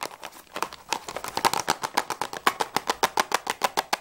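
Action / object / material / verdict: tap / small cardboard crayon box / cardboard / none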